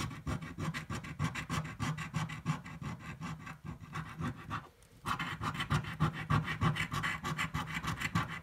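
A coin scratches the coating off a red, thin-card paper scratch-off lottery ticket held flat, in quick, steady back-and-forth strokes of about three per second. Each stroke is a dry, gritty rasp with a low body, broken by a brief pause near the middle before the scratching resumes louder and brighter.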